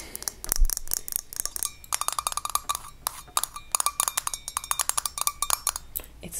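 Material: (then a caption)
Glass, metal. Long fingernails rapidly tap the perforated metal lid and the glass of a small hand-held glass mason-jar salt shaker full of white salt. The result is a dense series of sharp, bright clicks with brief, faint chiming rings between them.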